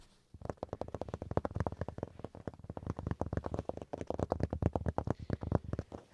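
A wooden chopping board is tapped in a fast, steady run of about 38 short, dull knocks over six seconds. Each tap is a brief, low, hollow thud with almost no ring and no bright high end.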